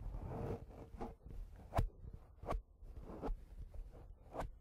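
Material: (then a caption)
Foam. Fingertips of one hand rub and scratch a round, soft, porous black foam windscreen on a handheld recorder, making a close, muffled, low-heavy rustle with almost no bright content. Three sharper scratches stand out from the steady rubbing before it settles back to soft scraping.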